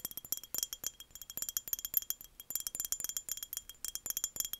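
A clear, embossed, empty glass mason jar is held up and tapped with the long fingernails of both hands, giving 29 quick, bright, clicky taps in irregular bursts. Each tap is a very high, glassy tick that dies away almost instantly, with no low body to the sound.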